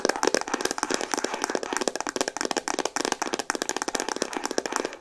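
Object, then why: Hollow plastic camera body. Fast tapping with long painted nails on a pink Instax Mini instant camera, a hollow, hand-sized plastic body. Dense, rapid, dry clicks with almost no ring, centered in the low mids with some bright edge and no deep bass.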